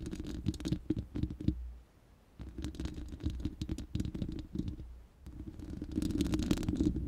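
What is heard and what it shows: Long nails scratch the bare, hollow, round steel mesh grille of a studio microphone. The result is fast, uneven scratchy rasping over a deep hollow rumble, coming in three bursts separated by brief quiet gaps.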